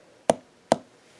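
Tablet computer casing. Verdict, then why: Less hollow. Two short taps on the casing of an older iPad 2 tablet, each a brief knock centered around 660 Hz that dies away almost at once. For comparison with the iPad Air, the iPad 2 casing sounds less hollow.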